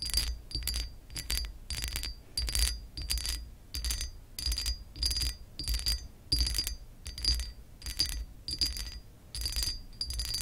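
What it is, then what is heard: Textured glass lamp base scratched with nails. Long acrylic nails scratch across a pressed glass lamp base with a raised scale pattern, using both hands. Short, bright, gritty scratching bursts repeat in an uneven rhythm, each carrying a faint high ringing tone, over a low thudding rumble.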